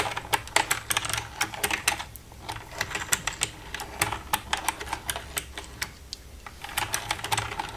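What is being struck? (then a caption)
Plastic computer keyboard. Long red-painted nails tap and type with both hands across the keys of a black plastic desktop computer keyboard with a hollow casing. The result is a steady, irregular patter of quick, dry, bright clicks that die away almost instantly, some louder than others, over a faint low background.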